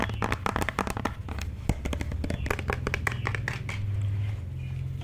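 A white plastic cosmetic bottle with a green cap is held in the hand and tapped and scratched with long dark nails. Quick, dry clicks and scratchy rustles come in a dense, uneven stream over a steady low hum.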